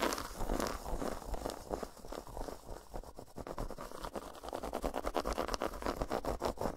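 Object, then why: Milk chocolate bar tapped and scratched with fingernails. Long nails tap and scratch across an unwrapped, solid milk chocolate bar segmented into a grid of squares, resting on a towel, working over the squares and along the grooves between them. The result is a dense, fast run of dry, crisp clicks and scratchy, crinkling scrapes that stop with almost no ring. The sound speeds into sharper, more closely packed taps toward the end.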